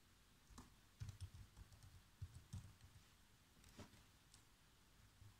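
Fingertips type on the black plastic keys of a laptop keyboard, producing a quiet, irregular run of repeated key taps. Each tap is a soft, dull, low thud that dies away almost instantly, and a few carry a faint bright click on top.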